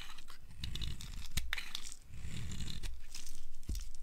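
A flat cutter blade carves a solid, blue-striped dry bar of soap in rapid, crunchy scrapes. The steady stream of dry crackles has a low, dense body with bright grainy edges and a few sharper snaps, easing briefly around the two-second mark before it picks up again.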